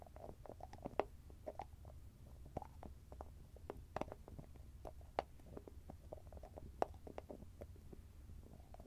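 Fingertips and nails tap rapidly on the top and edge of the shiny metallic lid of a small, round, grey cosmetic cream jar. The result is a quiet, irregular stream of short, dry clicks with a faint mid-range ring, a few sharper nail strikes standing out over a low, steady rumble.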